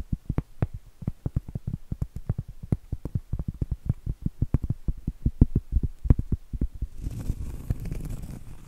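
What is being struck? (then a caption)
Cork trivet. Long acrylic nails tap rapidly on the face of a round, flat, solid cork trivet held upright, producing dozens of dull, low, soft thuds with almost no ring. Near the end the tapping gives way to a continuous, rough scratching across the cork surface.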